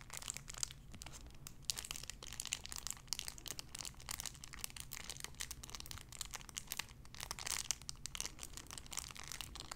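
A small clear cellophane wrapper around a sun-shaped figure is crinkled and squeezed with fingertips and long nails. The result is dense, continuous bright crackling with sharp, quickly fading snaps, over a faint steady low hum at a quiet level.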